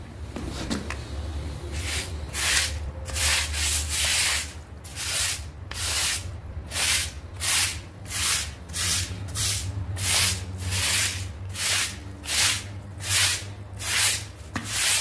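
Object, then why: Synthetic fiber doormat scrubbed with a plastic brush. A hand scrubs a wet, half-round gray synthetic fiber doormat with a red flower print, lying on tiles, using a yellow plastic scrub brush to clean off dried mud. About 13 rhythmic, bright, hissy rubbing strokes sweep back and forth at a steady pace over a low, constant hum.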